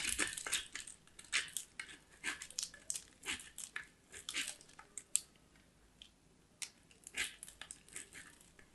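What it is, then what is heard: Soap bar grated on a metal grater. A small solid white soap bar is scraped along a small metal box grater held in one hand with long black nails. Repeated bright, crunchy grating strokes come in quick bursts with short quiet gaps between them. There is almost no low end and the scrapes stop dead with no ring.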